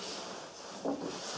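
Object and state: Nothing is struck.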